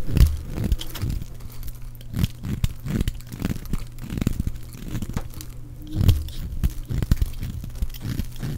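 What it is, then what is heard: Dry bar of soap being scraped. A metal utility blade shaves and scrapes curls off the surface of a solid, palm-sized, pink oval bar of dry soap held in one hand. The result is a run of dull, low, crunchy scraping strokes with faint crinkling between them, and a few heavier crunches stand out.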